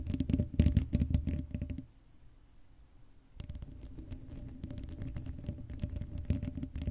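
Long acrylic nail tips scratch the sides of the bare black metal mesh grille of a Blue Yeti microphone, a hollow dome with no cover. The scratching makes a rapid, uneven, scratchy patter with a heavy low rumble and a faint steady hum. The scratching stops for about a second and a half, leaving near quiet, then resumes at a steadier, softer level.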